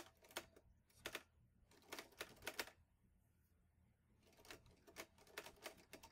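Fingertips type on the keys of a green metal portable manual typewriter, an Olivetti Lettera 22, in two bursts of about fifteen sharp, bright clacks with a short pause between them. Each strike is quick and dry with almost no low end, and the overall level is quiet.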